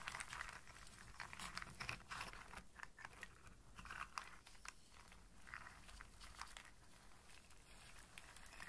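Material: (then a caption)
Nutshell. Long-nailed fingers scratch and rake through a loose pile of dry walnuts and hazelnuts in their hard shells on a flat surface, rubbing the shells together. It makes a quiet, continuous stream of bright, crisp clicks, scrapes and rattling crackles that swell and fade in short bursts over a faint low background hum.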